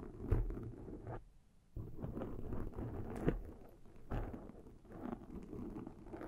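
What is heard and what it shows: Long metal claw rings set with rhinestones scratch and tap on top of a black foam windscreen on a Zoom microphone. The result is a dull, muffled rustle and patter, mostly deep low-end rumble, with a brief quiet pause and a few sharper taps standing out.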